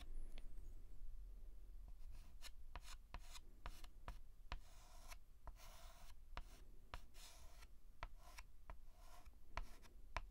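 A white chalk stick is rubbed and scratched across a large flat blackboard while filling in a letter. Quick, sharp chalk taps and short bright scratchy strokes alternate with longer raspy rubbing passes over a steady low hum.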